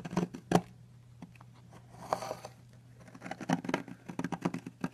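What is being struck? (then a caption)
Bar of soap scraped with a metal knife. A metal knife blade scrapes and carves along the edge of a long, solid blue soap bar, and crumbly flakes fall onto a white surface. Short, crisp scraping ticks come in scattered bursts with quiet gaps and a softer, breathy rasp near the middle. The cuts grow into a denser run toward the end over a faint, steady low hum.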